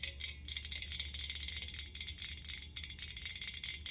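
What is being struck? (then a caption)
Hammered stainless steel ice bucket. Long acrylic nails tap quickly on a medium, hollow, empty hammered stainless steel ice bucket held in both hands. The result is a steady stream of bright, dry clicks with very short ring, like a rattle, over a faint low hum.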